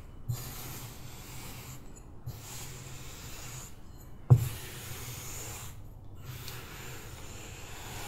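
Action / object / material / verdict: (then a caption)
scrape / kinetic sand in a plastic tray, scraped with a metal spoon / sand / none. Purple kinetic sand spread in a shallow white plastic tray is stirred, scooped and scraped with a metal spoon held by hand. Soft, steady rubbing and hissing scrapes carry a low hum, with brief gaps of near silence between strokes. A sharp tap rises out of the sound near the middle.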